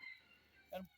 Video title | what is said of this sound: Sunday Auction and a Coon Hunting Story. | I can shake it. I can hear the seeds in it.